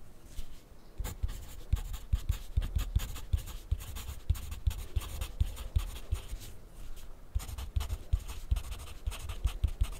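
A graphite pencil writes on a sheet of grid paper resting on a white plastic clipboard lying flat. The result is a steady run of short, dry scratches and light taps with a dull low thud under each stroke, pausing briefly near the end before the writing resumes.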